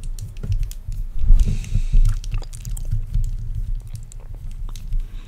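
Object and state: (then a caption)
Plastic tangle fidget toy being twisted. A small, colourful, hollow and light plastic tangle fidget toy made of linked curved segments is twisted and bent by both hands in front of the microphone. It gives quick, irregular clicking sounds over a low rumble, with a brief brighter hiss partway through.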